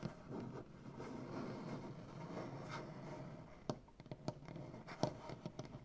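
Painted nails on both hands scratch across a solid, light wood butcher-block tabletop, making a soft, dense, papery rasp for the first few seconds. The scratching then turns into a loose series of sharp, dry taps with very little ring.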